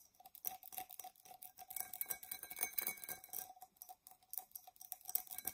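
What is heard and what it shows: An empty, hollow, dark purple embossed tinted glass tumbler is held tilted and scratched with long nails across its outside and base. The result is a quiet run of quick, irregular, bright scratching strokes. A faint steady ringing tone sits beneath them throughout.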